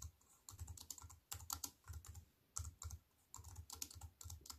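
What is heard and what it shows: Fingertips with long white nails type fast on a compact wireless keyboard with black plastic keys set in a thin silver aluminium frame, resting on a wooden table. Quick bursts of short, dry clicks and tapping pair a low thud with bright, crisp edges, separated by brief pauses. Each keystroke dies away almost instantly.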